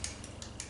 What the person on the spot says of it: it becomes super hard so it's not something you're really going to eat it's for decorations but it's sounds like ceramic